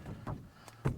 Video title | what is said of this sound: Boat Shrink Wrap Part 1 You never forget your first time, You learn so much. | you can hear it pretty drummy, which is good